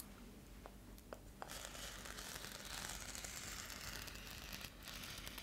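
A metallic foil bubble-insulated mailer is held upright and scratched with long nails along its textured surface. Three faint clicks come first, then from about 1.5 seconds a steady, bright, crinkly scratching runs to the end, briefly easing near 4.7 seconds.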